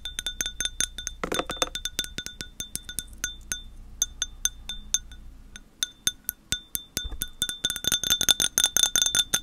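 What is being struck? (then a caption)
Glass object. A glass object is tapped repeatedly with light, quick strokes, giving short, bright clinks with a ringing tone near 3.6 kHz that die away almost at once. The taps come at an uneven, steady pace and build into a rapid, denser flurry toward the end.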